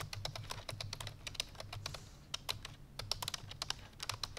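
Fingertips with long painted nails rapidly press the keys of a full-size black plastic computer keyboard resting on a white fur rug. Fast, bright, sharp typing taps follow one another with very short decay, over a steady low hum.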